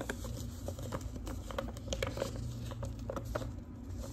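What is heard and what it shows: Long pink nails tap and scratch a large, thin, flat manila paper envelope with a metal clasp, held up in front of the face. Quick, light papery taps with a crisp tick and soft scratching repeat steadily over a low, constant rumble.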